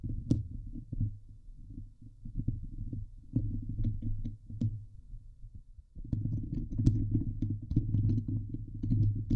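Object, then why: Steel wire-mesh microphone grille. Long nails and fingertips scratch and grip the hollow steel wire-mesh dome grille of a Blue Yeti microphone. The result is a dense, low, muffled rumbling and thumping with occasional faint bright ticks. The sound eases briefly just before the sixth second, then returns louder and busier.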